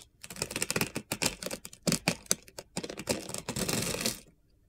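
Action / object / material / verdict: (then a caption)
scrape / bar of soap / soap / none. A utility knife blade cuts and scrapes brittle flakes from a solid light blue bar of soap, yellow at the edge, held in the hand. It makes a rapid series of crisp, bright, crunchy scraping bursts that merge into a longer, steady scrape before stopping abruptly.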